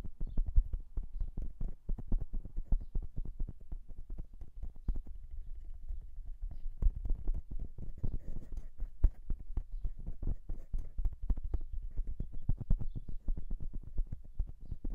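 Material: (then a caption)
Metal. Fingertips of both hands tap and drum on the metal capsule housings of a silver dual-capsule microphone on a stand. A dense, rapid run of short, dull thumps heavy in the low end carries on without pause, each tap dying almost at once with barely any ring.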